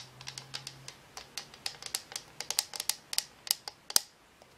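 Long nails tap quickly on a hollow, frosted-plastic cylindrical lamp shade from a color-changing lamp, lit warm orange in dim light and gripped with both hands. About twenty bright, dry, clicky taps come in an uneven run, each dying away almost instantly, with a faint low hum beneath the first half.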